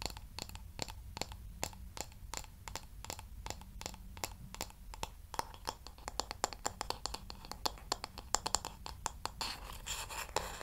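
Long nails tap and scratch the smooth, solid wooden back of a light wooden paddle hair brush held close to the mic. A quick, uneven run of sharp, dry clicks with almost no ring gives way near the end to a denser, hissy scratching.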